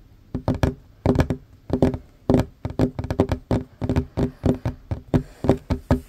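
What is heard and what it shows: Short fingernails and fingertips tap fast on a worn, large, solid wooden tabletop. The dry, knocking taps come in quick bursts with a low, woody tone around 390 Hz and almost no ring after each hit.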